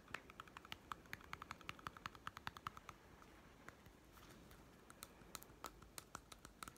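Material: Plastic.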